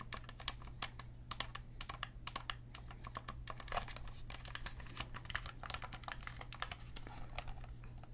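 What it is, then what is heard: Plastic game controller buttons clicked. Fingertips and nails click the small buttons and face buttons of a hollow black plastic Sony gamepad in a rapid, irregular stream. The sharp, bright clicks are short and dry and sit over a steady low hum.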